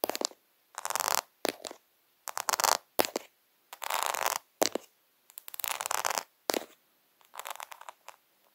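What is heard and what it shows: Fingertips and short nails tap and scratch quickly across a flat sheet of small rainbow-coloured acrylic rhinestones lying on fabric, close to the microphone. Short bursts of dry, bright, crackly scratching alternate with sharp clicks and brief silences. There is no low end, and each sound stops instantly.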